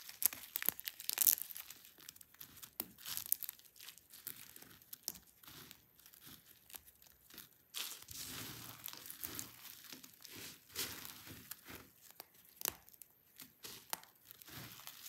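Fingertips pinch, crush and rub a pile of dry, brittle pink and white soap shavings, giving a dense run of crunchy, crumbling crackles. The sound is bright and dry, with many short, sharp snaps and almost no low end, and a few quieter rubbing stretches between the crunches.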